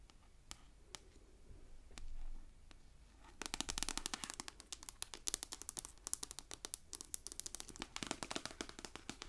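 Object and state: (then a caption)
Paperback book. Long acrylic nails tap and scratch the glossy card cover of a closed, hardcover-sized paperback copy of *The Office*, held upright in one hand. A few sparse, sharp taps and a brief soft scratch come first. Then a dense run of quick, bright, clicky taps follows, each dying away almost instantly.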